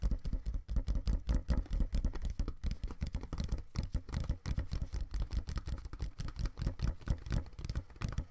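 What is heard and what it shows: Fingertips tap and scratch the side walls of a small, empty, open brown corrugated cardboard box held in both hands on a table. The result is a quick, irregular patter of soft, dull, low thuds with short, dry scratching between them. The taps die away almost at once.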